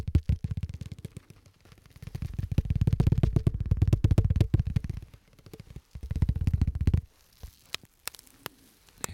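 Gloved fingertips tap, scratch and crinkle a thin, card-sized sheet of clear rigid plastic with a white tab, held in the hand. Dense, low, rumbling crackles swell into two louder stretches, then thin out into a few sparse, sharp clicks near the end.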